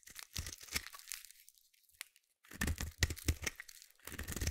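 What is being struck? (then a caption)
Bar of soap. A metal blade scrapes a solid purple bar of soap, peeling off crunchy shavings in bursts of dry, crackling tearing with a low thud underneath and bright crisp edges. A short quiet pause falls in the middle before the scraping picks up again.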